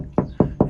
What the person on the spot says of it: if I tap the roof here in the back here on the camera but it's quite a solid sound